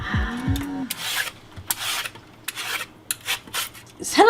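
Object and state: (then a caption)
Hollow lotus root. A knife cuts and scrapes along a long "male" lotus root, producing repeated dry, rasping strokes with a hollow tone. A brief voiced sound is heard at the start. The root sounds hollow, marking it as poor quality, with thin, fibrous, flavorless flesh.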